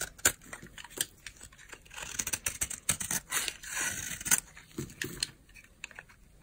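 A utility knife blade carves chunks and scrapes flakes off a solid, dry white bar of soap held in the hand. Many sharp, dry crunches and clicks come through, with brief bursts of bright, gritty scraping between them. Each snap stops almost at once, leaving quiet gaps.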